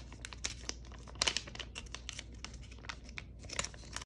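Long nails scratch, tap and crinkle the glossy surface of a flat, filled purple foil-laminate Lululun face mask sachet held in one hand. Dense, bright crinkling and scratching carry through the clip, broken by sharp, quick taps that die away almost instantly, over a faint low hum.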